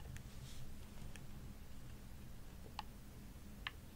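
Long nails tap the shell and buttons of a hollow, purple glossy plastic Xbox controller held in both hands. Sparse, short, bright clicks sound over a quiet, steady low hum, with the last two taps standing out most sharply.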